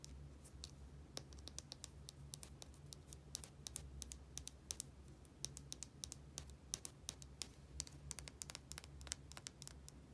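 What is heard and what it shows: Long nails tap and scratch a small, hollow plastic bottle with a white cap and a barcode label. They make rapid, sharp, bright clicks with quick scratchy strokes in between, over a steady low hum.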